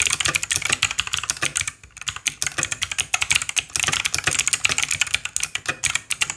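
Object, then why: Plastic mechanical keyboard. A white Langtu G1000 RGB 60% mechanical keyboard with plastic keycaps and RGB backlight, lying on a green surface, is typed on continuously with the fingertips of both hands. Rapid, bright, clacky keystrokes run throughout, about 39 in all, with a brief pause near the two-second mark. Each press is short and crisp, with almost no ring.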